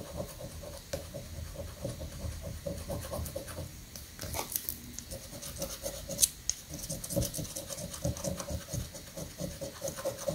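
A coin rapidly scratches a thin, flat paper scratch-off prank lottery ticket resting on a sandy granite countertop, making a continuous bright, rasping scrape of quick strokes. A windy outdoor rumble sits low underneath, with a few sharper high-pitched scrapes standing out near the middle.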